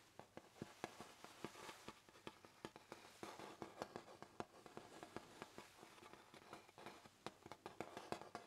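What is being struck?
Hardboard clipboard.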